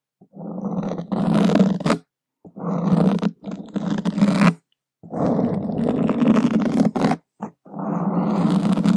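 The tip of a single wooden skewer scratches across a black foam microphone windscreen, making a dense, rasping scrape with a strong low, buzzing tone. The scratching comes in long, uneven bursts separated by short silences and small ticks, with little high-end brightness.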